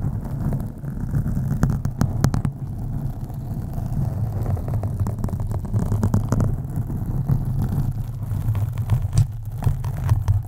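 Long acrylic nails on both hands scratch a black foam windscreen on a USB microphone. The result is a continuous deep, muffled rumbling scrape, concentrated in the low end around 137 Hz, with occasional sharper crackling clicks.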